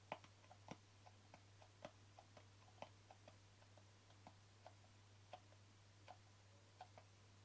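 Fingertips and nails tap the lid top and rim of a small, hollow white plastic jar with a green label. The result is a steady series of short, dry clicking taps with a hollow mid-range tone and bright edges, each dying away almost instantly. A constant low hum runs underneath.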